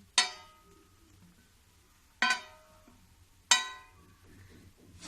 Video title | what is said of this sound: गुड़ की चक्की #चक्की गुड़ की# मस्त और खूबसूरत# खाने में पूछो मत#indian #viral | अब ये ऐसे जम जाएगी कि बहुत आवाज आएगी